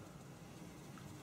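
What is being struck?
Nothing is struck.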